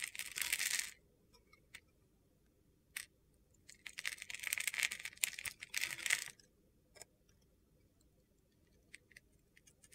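A utility-knife blade scrapes flakes off a hand-sized solid bar of soap with a silver glitter coating and a white interior, held in the hand. Bright, gritty, crunchy scraping comes in bursts: a short one at the start, a longer one in the middle, and scattered soft ticks between quiet gaps.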